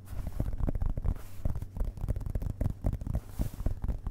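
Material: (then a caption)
Paper. Fingertips of both hands tap and rub on the printed paper pages of an open hardcover book resting on carpet. A quick run of soft, dull, low thumps blends with faint rubbing, each tap dying away almost at once.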